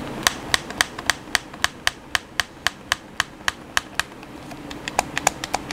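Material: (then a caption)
Plastic. Fingertips rapidly tap the buttons of a hollow black plastic PS4 controller held in the hands. About 25 short, sharp plastic clicks with crisp, bright tops and no ring sound over a faint background hiss, coming at a quick but uneven pace with a brief lull before a final faster run.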